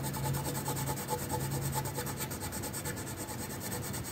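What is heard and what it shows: The tip of a magenta wooden colored pencil is rubbed back and forth across a flat paper coloring sheet, making a steady, soft scratching with a rhythmic stroke pattern. A constant low hum sits underneath the papery rasp throughout.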